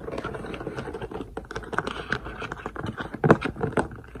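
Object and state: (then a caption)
Plastic storage case with beads, tapped. Fingertips and nails tap rapidly on the closed lid of a long, clear plastic multi-compartment storage case with letter labels, partly filled with drills (beads). The taps are quick, dry and light, with short plastic clicks and a faint patter of the contents. A few stronger taps stand out near the end.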